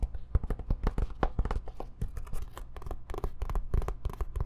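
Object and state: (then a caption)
Fabric-covered hard-shell zip case. A medium-sized, dark, rectangular zippered case with a fabric-covered hard EVA-type shell, hollow and empty or closed, is held in both hands and turned while long painted nails scratch and tap it. The result is a quick, dense run of dull, hollow low thuds mixed with dry scratching, each tap dying almost at once.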